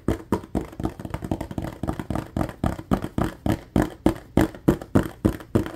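A large, clear, ribbed plastic bottle with a yellow cap, mostly empty with a little liquid at the bottom, is tapped quickly with fingertips and nails along its ridges. The result is a fast, somewhat uneven run of short, hollow knocks with a low-mid body around 320 Hz and a brief bright click on each tap. Every tap dies away almost at once.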